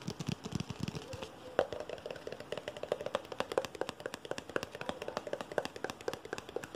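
A Pepsi "Spider" branded aluminum drink can, held in both hands close up, is tapped and scratched rapidly with fingertips and nails. It produces a dense stream of dry, clicky taps with a faint metallic ping around 530 Hz, mixed with scratchy, bright scraping.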